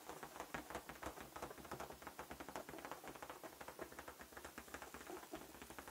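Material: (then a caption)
Latex. A large, hollow, air-filled light-blue latex balloon, held in the hand, is tapped quickly with fingertips and short nails. The result is a steady, rapid patter of soft, dry taps with a faint hollow thump and very little ring after each one.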